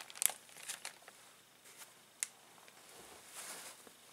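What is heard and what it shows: A clear plastic zip bag full of small plastic toys lies on a table while an open palm and fingertips press and rub it. Bright, dry crinkles come in sharp bursts, the loudest near the start and again around two seconds in. Between them runs a quieter rustle that swells toward the end.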